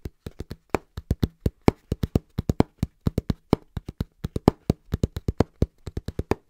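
Hands tap fast and rhythmically on a cardboard box, producing 39 short, dull thuds in about 6.5 seconds. Each tap is low and hollow with a slight papery crispness and almost no ring, in a quick, somewhat uneven pattern.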